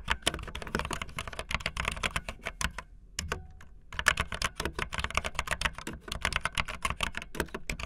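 Fingertips with long nails type fast on a backlit optical linear mechanical keyboard with white and blue plastic keycaps. Dense, crisp plastic clacks with a bright click and a low thud follow in quick bursts, broken by a short pause near the middle before the rapid typing resumes.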